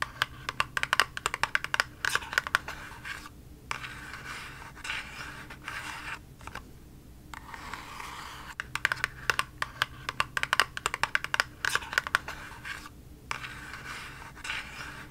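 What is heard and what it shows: Long nails tap and scratch a small, hollow, pink printed cardboard cosmetic box. Quick, dry, clicky taps alternate with bright scratchy rasps, with brief quiet gaps between bursts. The hits are short and barely ring, centred around 1.5 kHz.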